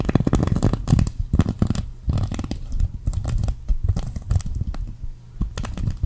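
Long acrylic nails scratch and flick across the plastic sequins of a green sequin cactus fabric patch. Dense, rapid bursts of short, dry clicks and rasping scratches come in uneven clusters, heavy in the low end with bright ticks on top and no ringing.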